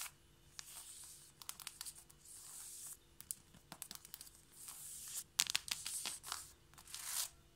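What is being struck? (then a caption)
Wooden or laminate floor. Long painted nails and fingertips of both hands tap fast on a flat, solid wooden or laminate floor. Quick, sharp, dry clicks come in rapid clusters, broken by soft bright scratchy swishes. The sound is thin and high with almost no low end, and each tap dies away instantly.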